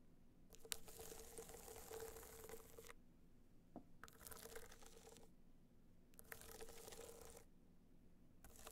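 Long nails scratch and tap a small, rigid, hollow box clutch covered in gold metallic material with raised dots, held on its side. Four bouts of dry, bright, crinkly scratching are heard, separated by short pauses, with a faint hollow hum beneath and a couple of sharp taps.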